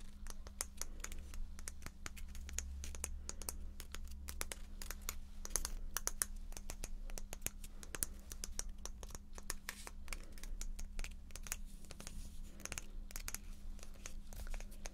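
A small pale teal painted wooden letter block, held in one hand, is scratched and tapped on its flat faces with long nails. Rapid, dry, bright clicks and scratchy strokes come in a dense, uneven stream over a steady low hum. Each tap dies away almost instantly.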